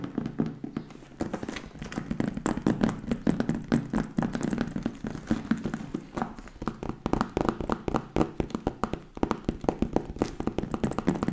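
A leather bag is tapped quickly with fingertips, producing a steady stream of rapid, dull taps. The taps are short and soft-edged, with no ring and most of their energy in the low-mid range.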